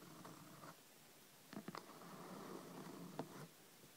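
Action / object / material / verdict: tap / hardcover paper book / cardboard and paper / none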